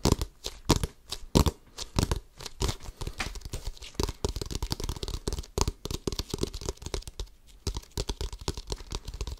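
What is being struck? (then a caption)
Inflated rubber basketball. Fingertips quickly scratch and tap the pebbled rubber surface of a full-size orange Wilson basketball, hollow and inflated, held close to the mic. Dozens of dry, short, bass-heavy thuds mix with crackly, tearing-like scratches in an irregular, rapid rhythm, and each hit dies away almost at once.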